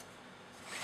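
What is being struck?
Nothing is struck.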